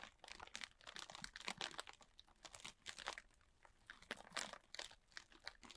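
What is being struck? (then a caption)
Plastic bag filled with polystyrene foam beads. A large clear plastic bag, full and tightly packed with small white polystyrene foam beads, is held in the hands while fingertips and short nails scratch and squeeze its plastic surface. The result is a quiet, dense run of bright, crunchy crinkling bursts with very little low end, rising and falling in overlapping waves.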